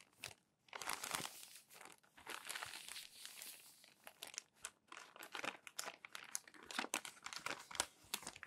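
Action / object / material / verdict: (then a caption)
scrape / glossy paper magazine pages / glossy paper / none. Crumpled glossy paper magazine pages lie on a stack while palms rub and smooth them flat, then turn them. Dense, bright crinkling and crackling rustles come in quick bursts with little low end. Short papery swishes and flicks mark the page turns, all at a soft, close level.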